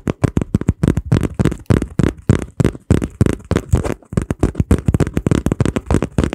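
A small flat piece of brown kraft cardboard, folded and taped across the middle, is held in both hands and squeezed, flexed and tapped with the fingertips. About 33 short, dry, dull taps and crinkles come in a quick, irregular run, heavy in low tones with no ring after each one.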